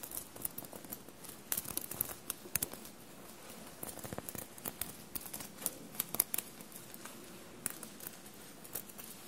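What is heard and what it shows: Long blue-painted nails scratch and tap across a bunched navy cotton shirt covered in small silver paillettes. Quiet, steady crinkly scratching runs throughout, broken by many short, sharp, bright clicks and rustles as the nails catch the sequins.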